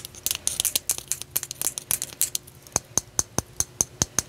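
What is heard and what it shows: A flat, solid, palm-sized raw white selenite (gypsum) slab, held in both hands, is scratched and tapped with long dark-painted nails. First comes a quick, irregular flurry of bright, scratchy clicks, then a steady run of sharp, evenly spaced taps. The sounds are crisp and high-pitched with almost no ring.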